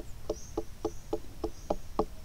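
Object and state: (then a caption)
Watermelon starting to ripen, hollow tap. Seven short, dull knocks at an even pace as a watermelon still growing in the garden is tapped to test its ripeness, each thud low and quickly damped. A hollow-sounding knock is taken as a sign of ripening; this melon is only starting to ripen and is not cut open.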